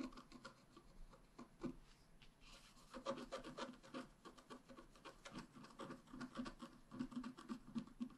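A wooden stylus scratches lines into the upper bicycle area of a flat black wax-coated scratch art card. Quiet, dry, rasping scrapes repeat in quick, uneven strokes, about four per second, with a midrange tone around 540 Hz and no ringing after each stroke.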